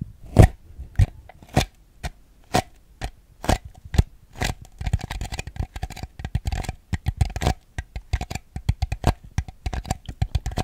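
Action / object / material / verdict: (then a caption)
tap / small ribbed plastic bowl / plastic / none. A small, hollow, empty ribbed white plastic bowl, held upside down, is tapped with fingernails on its base and ribbed sides. Spaced, dull hollow taps come first, then quicken into a dense, uneven patter of clicky knocks. Each tap dies away almost instantly, leaving a faint hollow tone.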